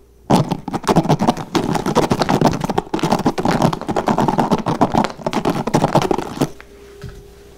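Fingertips rapidly flick and scratch the white plastic bristles of a blue plastic paddle hairbrush held in the hands. A dense, fast run of crisp, scratchy plastic clicks lasts about six seconds, then stops abruptly, leaving a quiet faint hum.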